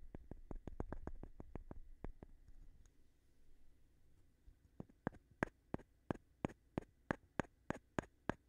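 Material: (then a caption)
Wood. A small, light-colored, solid-looking wooden board or block is held in one hand while the other taps and scratches its face with the edge of a thin, flat stone. A quick run of sharp, dry clicks gives way to a soft scraping stretch. A steady series of crisp, bright taps follows, each dying away almost instantly.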